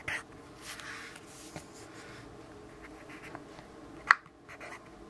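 A yellow graphite pencil writes on a lined paper notepad resting on a wooden desk, scratching lightly. Soft, dry scratching strokes come in short bursts, with one sharper tap or click near the end against a quiet background.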